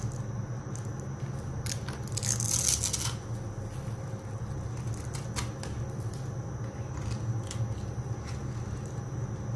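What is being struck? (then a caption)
Soap bar. A small, dry, solid rectangular white soap bar held in a palm with long dark nails is scraped and carved with a blade tool into flaky curls. Dry, crunchy scraping and bright crackles ride over a steady low hum, peaking in a louder, denser burst of crunching about two to three seconds in.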